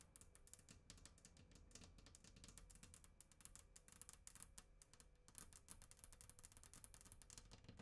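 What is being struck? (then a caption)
Glass tabletop. Long acrylic nails and fingertips tap and scratch a flat glass tabletop on either side of the microphone. Rapid, quiet, sharp clicks with bright high end and almost no ring ride over a soft, steady low rumble.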